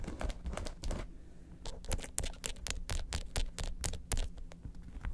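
Long acrylic nails quickly tap and scratch the top of a hollow, red, lobster-shaped faux leather handbag with small metal studs. The result is a fast, irregular patter of dry, bright clicks and short scratchy rasps over a low, dull body, with each tap stopping at once with no ring.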